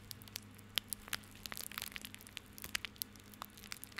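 Fingertips scratch, rub and squeeze a small tied bundle of plastic rope held in the hand. The result is quiet, bright crackling and crinkling: many short, sharp ticks and snaps that die away instantly, over a faint steady low hum.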